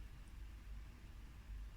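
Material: Nothing is struck.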